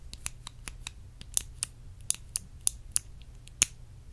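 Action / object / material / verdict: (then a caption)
tap / small glass perfume bottle / glass / none. Long acrylic nails tap and scratch a small, clear, faceted glass perfume bottle held in the hand. About twelve sharp, bright clicks and taps come at an uneven pace with faint scratching between them. Each is very short with almost no ring, over a low background hum.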